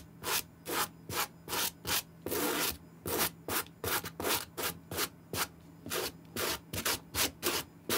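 A white plastic-bristle suede brush is scrubbed back and forth over the upper and heel of an empty green suede Nike SB sneaker with a gum rubber sole, held in hand. Quick, bright, dry brushing strokes come in an uneven rhythm, with one longer stroke near the middle and a faint steady low hum beneath.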